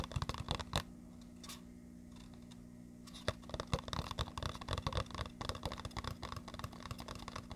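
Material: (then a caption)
Cardboard. A small printed red-and-black cardboard earphone box marked "BASS," likely hollow, is held close to the mic and tapped and scratched with fingertips and short nails. A few sharp taps open the clip, then a quiet pause with a faint steady hum. Dense, irregular, dull tapping and scratchy rubbing follow to the end.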